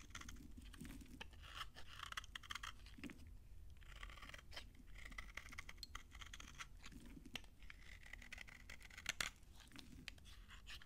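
A utility knife blade scrapes crunchy flakes off a solid, dry brown Farmamed bar soap that has been thinned down. Quiet, repeated dry rasping strokes crackle and crunch with a bright edge around 2 kHz over a low, steady rumble.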